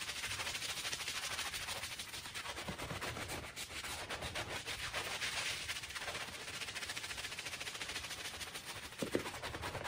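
A handheld bristle brush scrubs in circles over a small, dirty, fringed woven fabric rug that is wet with foam. It makes a steady, bright, scratchy swishing with a rhythmic texture, and a sharper knock near the end.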